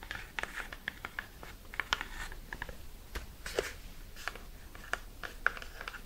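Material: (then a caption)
Cardboard. A tall, hollow, cream-colored cardboard skincare product box is held in the hands and tapped and scratched with long red nails. Quick, light taps land irregularly over a soft, dry scratching rustle. Each tap is a crisp, papery click with almost no ring, and the whole clip stays quiet.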